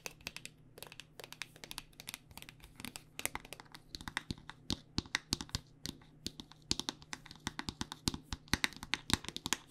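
Long nails tap rapidly on a white plastic body butter squeeze tube with a pink cap, filled with lotion. The result is a dense, uneven patter of short, bright clicks with almost no ring, over a faint low hum.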